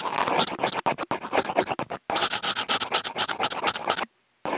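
Two wooden toothpicks with clipped-on contact mics scratch and rub across a flat brown corrugated cardboard sheet, their tips crossing. The result is a dense run of dry, bright, rasping strokes with almost no low end, broken by brief gaps. The clip ends in a short silence before a final faint scratch.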